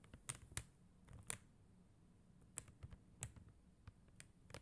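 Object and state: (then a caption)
Acrylic rhinestone sticker sheet. Long teal acrylic nails tap and scratch across a flat sheet of clear and blue faceted acrylic rhinestone gem stickers on white paper backing, lying on a glitter surface. Sharp, bright plastic clicks with almost no ring stand out over a quiet, low rustle, with the louder taps scattered irregularly through the clip.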